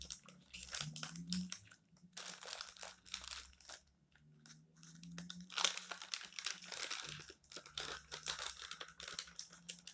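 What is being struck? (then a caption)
Glossy paper magazine pages. Fingertips rub, flatten, crumple and turn the thin glossy paper pages of a magazine lying open flat on a stack of magazines on a table. Bright, crisp crinkling and rustling comes in dense bursts, separated by brief quiet gaps, over a faint low hum.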